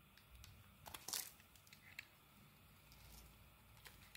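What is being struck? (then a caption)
Soap bar cut with a metal blade. A metal blade carves chips off a solid dark green bar of soap. Soft, crisp scraping and crunching cuts come through, with a louder bright cluster near the start and a few quieter cuts after. Faint low background hum sits underneath.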